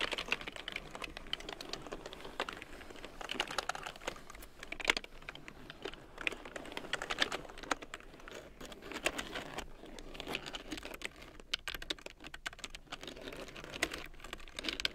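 A black plastic large-print computer keyboard with yellow keycaps, resting on a fur blanket, is typed on with long nails and fingertips. Rapid, dense bright clicks and taps with very short decay run steadily throughout, with a few sharper keystrokes standing out.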